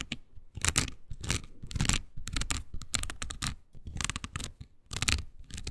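Long green nails scratch a small oval pink silicone body scrubber pad with nubs, solid and flexible. Quick bursts of bright, crackly rasping come one after another, with a soft low rumble beneath each stroke and brief quiet gaps between.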